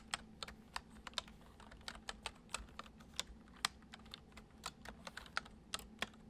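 Fingertips tap the keys of a full-size white plastic computer keyboard resting on a wooden desk, typing in a gentle, uneven rhythm. About 23 short, bright clicks ring out and die away almost instantly over a faint, steady low hum.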